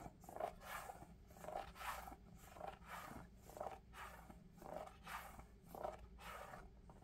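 Fingertips rub and scratch the upper of a pale lavender Crocs-style clog made of molded EVA foam with ventilation holes, held hollow and empty in one hand. The result is a steady series of soft, squeaky, rasping strokes with a midrange pitch that rise and fall in rhythm, each dying away quickly over a low background hum.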